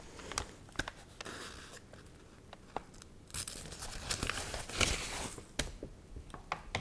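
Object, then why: Paper magazine pages. The pages of a dried, warped, water-wrinkled paper magazine are turned, bent and crinkled with long nails. Soft, bright papery rustling is broken by sharp, short crackles and snaps that die away almost instantly. A denser burst of crinkling comes toward the middle of the clip.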